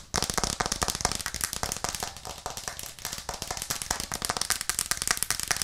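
A white plastic cutting board with green edges, held upright in both hands, is tapped fast with long nails. The result is a dense run of sharp, bright, crackly clicks with almost no ring after each tap.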